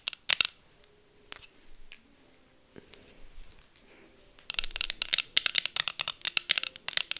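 Long acrylic nails tap and scratch the frames and lenses of pink plastic heart sunglasses worn on the face. Sharp, bright clicks come in a few quick bursts at the start, then quiet soft scratching, then a dense run of rapid taps in the last few seconds.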